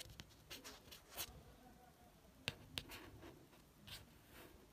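A fingertip traces the author name and the photo on the matte card cover of a beige paperback book. Soft, bright, dry scratchy brushing swells and fades against a quiet background, broken by two sharp, quick taps near the middle.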